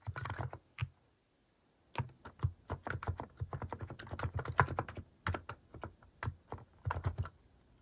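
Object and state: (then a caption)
Plastic mechanical keyboard being typed on. Fingertips type on a plastic mechanical keyboard fitted with cat-shaped plastic keycaps, producing a quick run of short, clacky key presses with a deep thocky body and brief bright ticks. A burst of keystrokes is followed by a pause of about a second before steady typing resumes in uneven clusters.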